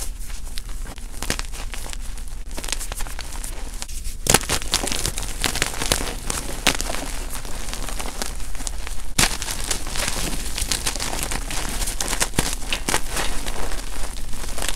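Hands grab handfuls from a heap of crushed white and lavender gym chalk blocks (magnesium carbonate) and squeeze the crumbly chunks into powder. A dense, continuous gritty crunching and crackling runs throughout, with a few sharper, brighter snaps standing out.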